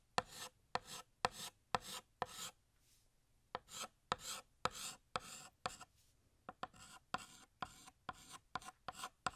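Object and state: Chalk drawing on a chalkboard.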